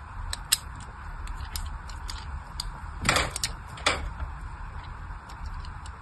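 A small craft blade carves thin lines into a solid pink bar of soap held in the hand. Short, bright scratchy ticks sound over a steady low hum, with two longer, louder scraping strokes near the middle of the clip.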